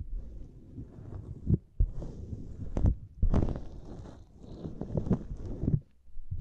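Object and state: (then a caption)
Silicone grid mat. Fingertips press a small, flat purple silicone lattice mat, then long nails scratch across it. The result is soft, muffled, low-heavy thuds and rubbing, with a few sharper taps and faint bright scratchy traces over the dull, rumbling bed.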